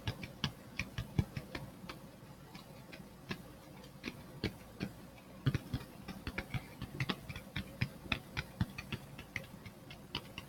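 A hand-sized, flat black plastic phone case with a glitter back is held near the mic and tapped and scratched with the fingertips and nails. It makes a rapid, irregular run of short, dry, clicky taps with bright tops and a soft low thump, each dying away almost instantly, over a faint scratchy hiss between the hits.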